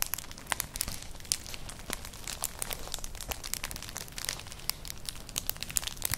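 A flat, colourful, hollow woven straw-like clutch purse is scratched with long nails. The result is a dense, steady run of dry, bright crinkling scratches with many quick, sharp ticks and no ringing.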